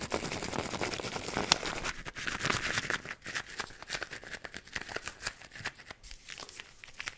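A red-and-white plastic effervescent-tablet tube, about hand length, with a white plastic cap, hollow and seemingly holding tablets, is held in the fingers and shaken and handled close to the mic. For the first two seconds a dense, bright crinkling rattle fills the sound. It then thins into many separate sharp clicks and taps of plastic and contents shifting.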